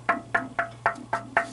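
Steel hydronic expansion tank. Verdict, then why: Waterlogged. Six evenly spaced taps are struck along a metal hydronic heating expansion tank, each a dull, solid knock centered near 680 Hz that dies away almost at once. The tank sounds solid all the way up because it is waterlogged, with no air cushion in the top, and the system reads nearly 20 psi with the boiler off. The tank is full of water and must be drained.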